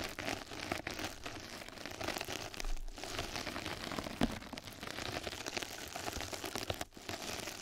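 Two mascara brushes scratch and brush across a flat yellow knitted-mesh scrub sponge pad laid over the microphone. The result is a steady, dense, crinkly scratching texture spread from low to bright high tones, with a few brief dips where the strokes pause.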